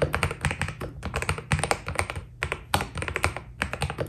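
Fingertips of both hands type steadily on a white Keydous NJ80 mechanical keyboard with PBT plastic keycaps, a steel plate and foam inside. A quick, uneven run of dry keystrokes sounds, each a deep thocky tap with a bright click on top that dies away almost at once. The typing pauses briefly twice before carrying on.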